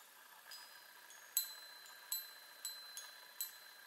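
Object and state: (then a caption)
Metal tube chime tapped with nails. Long nails tap the hollow metal tubes of a small handheld chime on a wooden frame, striking six times at an uneven pace. Each tap gives a bright, high metallic ping that fades quickly over a faint steady hiss.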